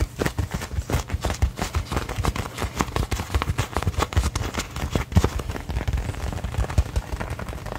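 Fingertips and nails rapidly tap and scratch the pebbled leather surface of a hollow, inflated brown American football with a white stripe and laces, held in both hands. The result is a fast, uneven stream of dull, low, hollow thumps with brief scratchy textures between them. Each tap dies away almost instantly.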